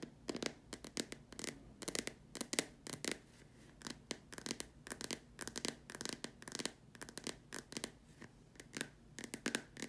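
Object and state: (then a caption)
Plastic lamp shade. Long dark nails tap in quick bursts on the upper surface and sides of a large, hollow, white plastic dome lamp shade. The many sharp, bright, clicky taps die away almost instantly, with a faint hollow body under them.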